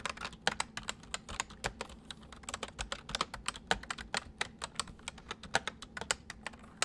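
Fingertips of both hands type steadily on a white full-size plastic mechanical computer keyboard, producing a rapid stream of sharp, bright key clicks. Each click is short and dry with almost no ring, over a faint low background hum.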